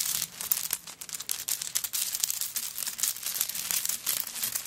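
A handbag covered in coconut shell chips is moved quickly and shaken, then long nails scratch across the shell chips while the bag lies on a table. The sound is a dense, bright, crinkly rattle and scratch of many quick, dry clicks with almost no low end.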